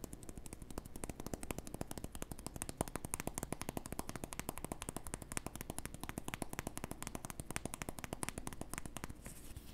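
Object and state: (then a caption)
Cork disc. A small, round, flat, solid cork disc held in the fingers is tapped and scratched with the fingertips and nails. The result is a dense, rapid stream of short, dry clicks and scratchy taps that stays steady throughout, with a low, muffled body and little ring after each tap.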